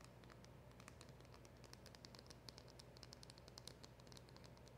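Long acrylic nails tap and scratch rapidly across the front of a small, hollow black cardboard packaging box with a silver round emblem sticker. The result is a quiet, steady patter of short, bright clicks over a soft low rumble, each tap dying away almost instantly.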